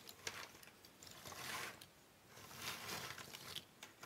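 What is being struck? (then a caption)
Pile of cardboard jigsaw puzzle pieces on a wooden table. Fingertips and long painted nails rub, spread and shuffle a large loose pile of small, thin cardboard jigsaw puzzle pieces on a wooden table. The result is soft, bright rustling and scratching that swells and fades in uneven waves, with scattered quiet clicks of pieces tapping together.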